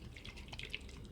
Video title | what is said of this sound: नवरात्रि में पूजा सामग्री ll Navratri Puja samagri list l शारदीय नवरात्रि 2025 Pooja samagri list | नारियल को अच्छे से हिला के देख लीजिएगा कि इसमें ऐसी आवाज आना चाहिए पानी वाला होना चाहिए